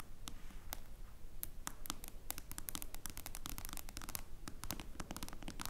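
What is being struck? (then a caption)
Smartphone glass screen. Long nails tap quickly with both hands on the dark glass screen of a face-up smartphone. The result is a quiet, uneven stream of sharp, bright clicks that stop instantly, over a low, steady background rumble.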